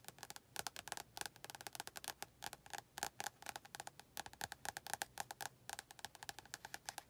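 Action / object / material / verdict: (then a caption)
tap / paperback book with glossy card cover / paper, card / none. Long painted nails quickly tap the front cover of a closed, medium-size paperback book, a solid paper block with a glossy orange and yellow card cover, held in both hands. About 48 short, dry clicks come in uneven bursts, each with a hollow, woody tone near 800 Hz and a bright edge. Every tap dies away almost at once.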